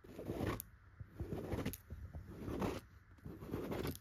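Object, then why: Tufted chenille fabric pillow. Long, pointed gold nails scratch and rub across a soft, filled yellow throw pillow covered in raised tufted dots of chenille fabric. Four rough, rasping strokes swell and fade in a slow, uneven rhythm, each with a dense low-to-mid scratchy texture and a brief bright swish as it ends.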